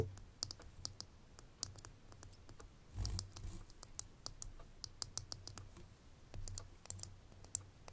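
Long fingernails tap on a small, full, ridged glass perfume bottle, striking both the glass and its metal label band. A rapid, irregular series of sharp, bright clicks dies away almost instantly over a low, steady hum, with a brief louder rustling swell near the middle.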